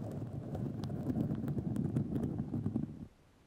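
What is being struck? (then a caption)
Fiberglass mesh tape wrapped on a microphone. White fiberglass grid mesh tape wrapped around a microphone is scratched with long nails, producing a dense, low, rough scratching rustle with faint bright ticks. The scratching continues steadily for about three seconds, then stops abruptly and leaves near silence.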